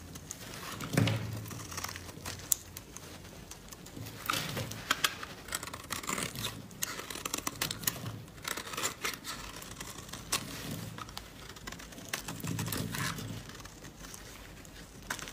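A metal blade scrapes a solid yellow laundry soap bar held in white-gloved hands, as crumbly shavings build up on the bar's surface and the table. The strokes make a dry, crackly, bright scraping with soft low thumps, in several bursts of rapid crinkling and tearing texture.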